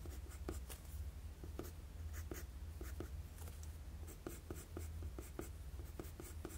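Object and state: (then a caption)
Pencil drawing on paper. A wooden HB graphite pencil draws long lines across a flat sheet of drawing paper, producing repeated bright, scratchy strokes. The strokes sit over a steady low hum.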